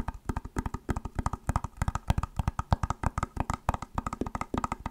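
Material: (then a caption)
Plastic. Long nails tap quickly on an elongated, hollow white plastic clamshell glasses case held upright, producing a run of about 35 short, dry clicks. The taps are low and hollow with a light clack, each dying away almost instantly in an uneven, rapid rhythm.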